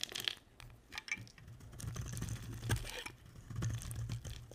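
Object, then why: Bar of soap scraped with a blade. A box-cutter blade scrapes shavings off a solid, dry, hand-sized lilac bar of soap held in the hand, making dry, crackling scrapes with bright, crisp edges over a low, steady rumble. The strokes come in uneven bursts, and at the end the blade is lifted away.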